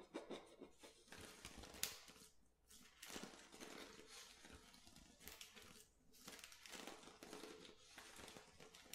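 An empty, clear, thin plastic water bottle is scratched with fingernails along its ridged base while fingers lightly squeeze it. Dense, bright crinkling and scratching come in several bursts, with sharp clicks and short, crisp tearing-like rasps over quieter gaps.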